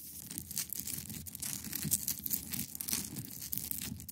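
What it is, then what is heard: Ice block. Long pointed nails scratch across the top of a large, solid, clear ice block resting on a fabric surface. The result is a quiet, continuous run of bright, crackly scratching strokes over a faint low rumble.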